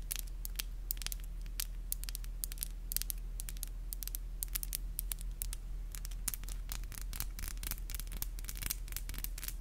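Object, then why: Acrylic fingernails. Long black acrylic nails are tapped together nail on nail, producing rapid, sharp, bright clicks in an irregular stream over a steady low hum.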